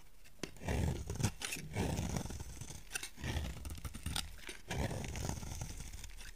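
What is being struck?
Bar of soap.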